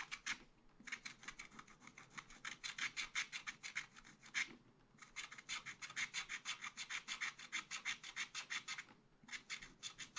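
A wooden stylus scratches the deer's head area on a thin black coated scratch-art card in a spiral pad. It makes a fast run of short, dry, bright scratching strokes, with brief pauses around the middle and near the end.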